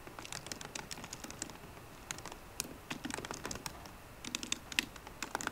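Fingertips with short green nails tap rapidly on the low-profile plastic keys of a 13-inch aluminum MacBook Pro keyboard. Quiet, bright, crisp clicks come in quick bursts separated by brief pauses, each tap dying away almost instantly.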